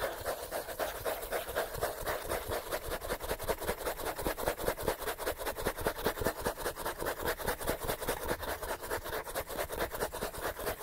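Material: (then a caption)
Paper. Fingernails scratch quickly and steadily across the page edges and spine of a thick, solid paperback book. The result is a continuous run of dry, raspy strokes with a papery mid-range texture and a bright hiss, repeating at a fast, even pace.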